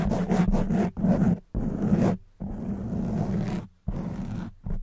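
Long white nails scratch and squeeze a black foam microphone windscreen, making dense, rough scratching and crunching bursts with a heavy, muffled low rumble. The bursts come in uneven stretches separated by brief quiet gaps.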